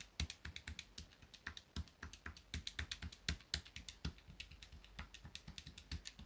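Fingertips rapidly tap and press the plastic keys of a small grey plastic pocket calculator held on a desk mat. About forty quick, dry clicks come at an uneven pace of roughly four per second, each a bright tick over a soft low thump that dies away almost at once.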